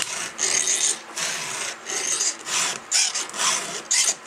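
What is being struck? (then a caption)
Steel chainsaw chain and round file. A round steel file is pushed across a cutter tooth of a thin, solid steel 3/8-pitch chainsaw chain held on an upside-down bar. About seven separate strokes each make a bright, hissing rasp that scrapes mostly in the high range with little low end. Short quiet gaps fall between the strokes.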